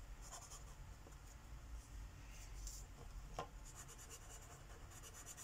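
A light purple Sharpie marker tip rubs across a flat paper page of a coloring book lying on a wooden table, making coloring strokes. Quiet, soft scratchy rubbing comes in repeated bright, hissy strokes over a steady low hum, with one slightly sharper tick near the middle.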